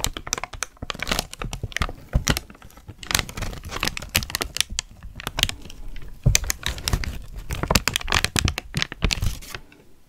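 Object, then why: Thin tissue paper sheet. A thin sheet of white tissue paper is crumpled and crinkled with both hands close to the microphone. Dense, bright crackles and rustling bursts come in uneven waves over about ten seconds, with soft low thumps as the paper is handled, and each crackle dies away almost at once.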